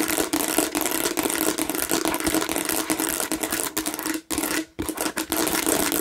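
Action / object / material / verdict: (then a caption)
scrape / textured plastic watermelon-shaped bottle / plastic / none. Long nails scratch rapidly across the raised seed texture of a hollow plastic watermelon bottle, making a dense, bright, rasping sound with a steady hollow tone around 300 Hz underneath. The scratching is nearly continuous, dropping out briefly twice near the end before resuming.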